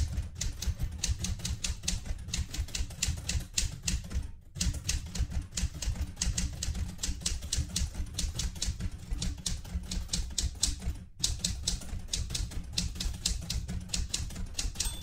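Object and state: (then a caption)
Manual metal typewriter being typed on. Fingertips with red-painted nails type steadily on the round keys of a light blue Galaxie Twelve portable manual typewriter with a metal body and paper loaded. A rapid stream of bright metallic key clacks rides over deep, dull thuds, with short pauses around 4.5 and 11 seconds before the typing resumes.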